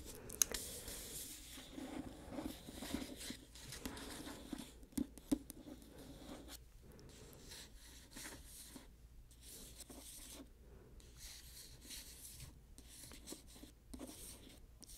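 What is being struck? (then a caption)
Paperback book with glossy paper cover. Fingernails tap and scratch the glossy paper cover of a solid paperback book held upright. Quiet, crisp, high scratching and rustling is broken by a few sharp, dry taps that stop instantly.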